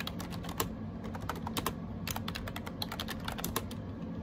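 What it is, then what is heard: Plastic keyboard typing. Fingertips type rapidly on a gray AJAZZ 308i wireless Bluetooth keyboard with round plastic keycaps. The result is a fast stream of short, bright clicky taps over a steady low hum.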